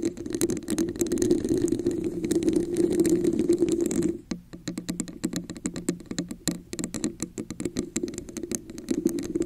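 Long nails tap and scratch the ridged surface of an inverted, hollow red plastic cup with a raised diamond texture, set over a microphone. Dense, continuous scratching with a hollow resonance near 350 Hz fills the first four seconds, then gives way to quicker, sparser clicking taps before scratching returns at the end.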